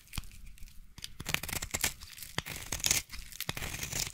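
A utility knife blade scrapes and carves shavings from the end of a solid light blue bar soap. The result is a run of crisp, dry, bright tearing and crunching scrapes in irregular bursts that are mostly high-pitched.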